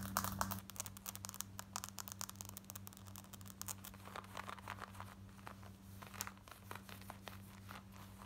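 Long nails scratch quickly over the waistband and front pockets of worn black denim jeans, making a dense run of rough, bright scratching and crinkling strokes. A steady low hum runs underneath throughout.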